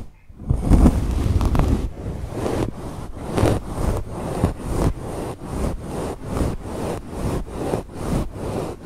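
A wooden bamboo fork, held vertically with its tines in a fluffy grey faux fur microphone windscreen, combs and scratches the fur. The sound is a deep, muffled rustling that comes in repeated strokes, with an initial louder sustained rub followed by regular rhythmic scratching pulses.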